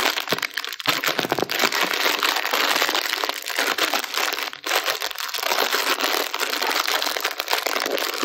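A small sealed metallized plastic snack bag full of crackers is crumpled and rubbed with fingertips and thumbs while being turned in the hands. The result is a steady, bright crinkling and crackling with dense sharp snaps and almost no low end, with a brief pause near the middle.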